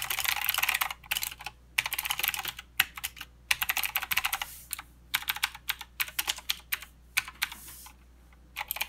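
Fingertip typing on a mechanical keyboard with plastic keycaps and clicky blue switches, the right hand moving over to the arrow and numpad area. Bursts of sharp, bright clicks come in quick runs separated by short pauses. Each keystroke cuts off almost instantly, with no low-end body beneath the clatter.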